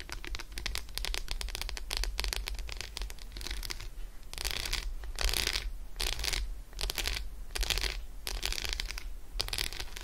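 Long acrylic nails scratch quickly across the squares of an unwrapped Roshen milk chocolate bar, a solid segmented slab resting on fur. The result is a dense stream of dry, rasping strokes that swell into bright, hissy bursts, over a steady low hum.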